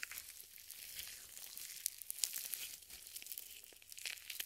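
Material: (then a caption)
Nitrile. Purple nitrile gloves coated in white lotion are clasped, wrung and rubbed together just above the mic. The result is a quiet, steady stream of bright, wet crinkling and squelching, with small sticky pops scattered throughout.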